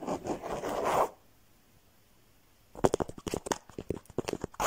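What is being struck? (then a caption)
Embroidered cloth cushion cover. Fingertips and nails scratch a soft cushion with a woven, embroidered cloth cover showing a ladybug and flowers. A second of steady, raspy scratching gives way to near silence, then a run of quick, sharp scratching strokes starts just before the three-second mark.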